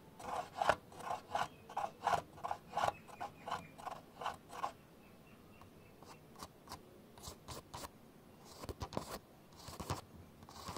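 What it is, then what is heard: Plastic camcorder lens hood scratched. Fingernails scratch and rub the plastic lens hood and the top of a black plastic camcorder body. About a dozen quick, rhythmic rasping strokes with a mid-range, papery scratch are followed by quieter, scattered scratches and rubs.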